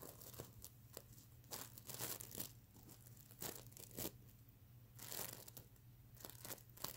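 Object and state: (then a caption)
Plastic sequin pillow being scratched. Fingernails scratch and flick the plastic sequins on a plush mermaid unicorn sequin pillow, producing bright, crinkly, tearing-like rasps in short bursts. A faint steady low hum runs underneath throughout.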